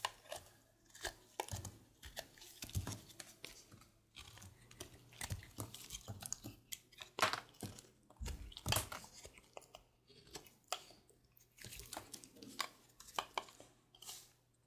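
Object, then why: Bar of soap. A solid light-blue bar of soap is carved with a red patterned blade beside a large pile of shavings. A quick run of crisp, dry scraping and shaving strokes rises and falls in short bursts, with bright crunchy edges over a faint low hum.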